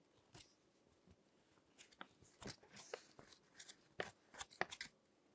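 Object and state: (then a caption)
Glossy paper magazine pages. Long-nailed fingertips turn and crinkle the pages of a thick, crinkled glossy paper magazine lying on a table. Soft, irregular crinkles and crisp, bright crackles come in scattered bursts over a low background hiss, growing denser and sharper toward the end.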